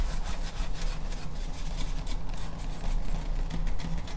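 Long nails rub and scratch across the textured face and edge of a large, flat, solid grey foam Halloween tombstone prop sign held close. The result is a steady, dry rubbing and scraping over a low, humming rumble, broken by brief, bright scratchy streaks.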